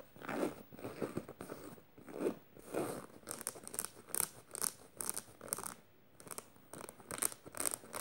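Clawed fingernails scratch a black canvas tote bag with metal studs, raking across both the fabric and the studs. The first half is soft, rasping fabric scratches with a warm midrange, and the second half brings bright, tinny clicks and scrapes as the nails catch on the metal studs. The strokes come in short, uneven bursts separated by brief pauses.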